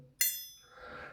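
A steel wedge-ground straight razor with a 60 mm edge, horn scales and Solingen make is flicked or struck once, giving a sharp, very high metallic ping with bright overtones that rings out briefly before fading into a soft, broad hiss. The clear ringing marks the blade as very good quality.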